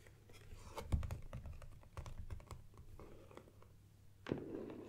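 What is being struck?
Cardboard box.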